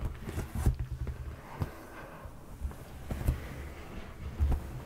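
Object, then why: Padded leather sofa cushion. Fingertips and flat palms tap and rub a dark padded leather sofa cushion. Dull, low, padded thumps come through over a soft, continuous rubbing texture, and each tap dies away almost at once.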